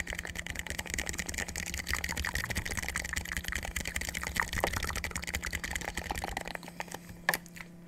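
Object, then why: Plastic water bottle. A clear plastic water bottle with a white cap and blue label, hollow and partly filled with water, is held in both hands close to the microphone and tapped with fingertips and nails. A fast, continuous stream of light, bright clicks and taps plays over a steady low hum. The tapping thins out near the end, with one sharper, louder tap just before it fades.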